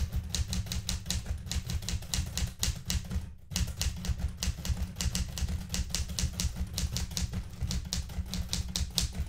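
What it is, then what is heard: Manual typewriter keys being typed. Fingertips with red-painted nails type continuously on the plastic keys of a blue metal portable manual typewriter. Rapid, crisp, bright key clacks ring briefly over a steady low rumble, with a short pause near the middle before typing resumes.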